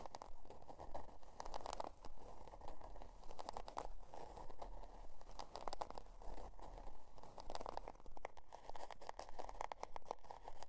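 Long dark nails scratch the scale-pattern cardboard cover of a spiral-bound notebook lying on faux fur. Dry, crunchy scratching comes in a steady, fairly regular rhythm of short strokes, centered in the midrange around 780 Hz, over a low rumble.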